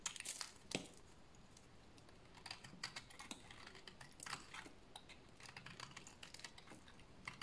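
A solid oval bar of dry beige soap, held in the hands, is scraped with a blade into curly shavings. Quick, dry, crisp scraping clicks come in uneven bursts, each fading almost at once, with bright crackling edges over a soft low rustle.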